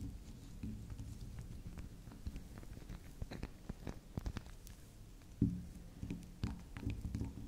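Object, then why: Small round soap bar. Long acrylic nails tap and scratch a small, round, solid pink spiral soap that is soft and gets turned on a table. The taps and scratches are quiet, muffled, and low, coming at an irregular pace with a few slightly louder knocks near the end.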